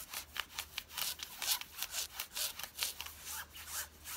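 Long fingernails scratch quickly across the thigh fabric of worn blue denim jeans, making 14 dry, rasping strokes in an uneven rhythm. The sound is bright, high-pitched fabric noise with almost no low end, and each stroke stops short with no ring.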